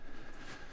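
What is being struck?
Nothing is struck.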